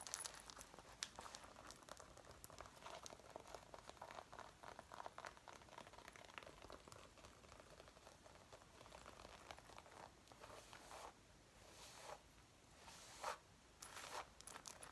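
Fingertips and nails of both hands scratch and rub the front panels near the collar of a worn dark brown faux leather zip-up jacket. The result is a steady, dense crinkling and scratching texture with bright edges, quiet overall and with a few louder rubbing bursts near the end.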